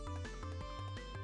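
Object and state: Nothing is struck.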